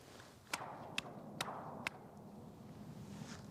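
A huge metal water tower is struck four times, each hit a sharp, bright clang that dies away almost at once over a low background hum. It sounds hollow because the tower is empty, never connected to the well or to the population.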